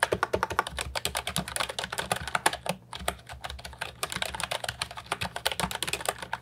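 Fingertips type continuously on the round keycaps of an Ajazz 308I brown and white plastic retro mechanical keyboard with a hollow body, resting on a wooden desk. Rapid, crisp clicky keystrokes with bright, short-ringing clacks carry on throughout, with a brief lull near the middle before the typing resumes.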